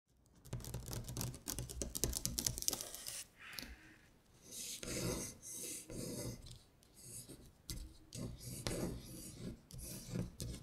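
Long pointed acrylic nails trace and scratch along the printed letters of a thin printed paper sheet reading "Winter Bear," lying flat on a glittery surface. Dense, bright scratchy rasping comes in bursts of quick strokes with short pauses between, plus a soft low rumble beneath.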